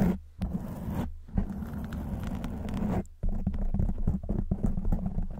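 Long white nail tips scratch a black foam windscreen on a silver microphone from both sides. The result is a close, muffled, low-heavy rustling and crackling with a steady hum near 195 Hz. It pauses briefly near 0.2, 1.1 and 3.1 seconds before resuming in dense, uneven scratches.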